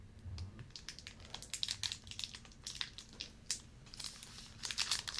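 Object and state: Plastic-wrapped fruit and nut bar.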